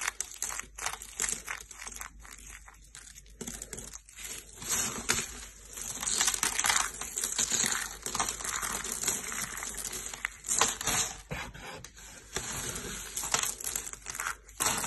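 Handfuls of yellow dry soap shavings are crushed between fingers and palms over a purple mat. The result is a dense, irregular run of dry, crunchy crackling and crinkling that is bright and mostly high-pitched, with little low end. It swells in louder crunching bursts and then eases between squeezes.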